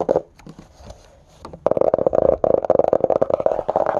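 Fingertips and short nails tap and scratch the red cloth or cardboard cover of a closed hardcover book lying flat. A few soft, scattered taps give way after about a second and a half to fast, continuous tapping and scurrying scratches with a dull, mid-pitched knock and almost no ring.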